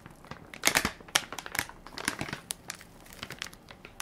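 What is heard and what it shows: A full, soft plastic-film baby wipes pack with a plastic lid is held in one hand while fingertips and nails crinkle and scratch its film top. The result is a quiet, bright, dry crinkling made of quick, sharp crackles with almost no ring. The loudest bursts come early, then a steady run of smaller crinkles follows.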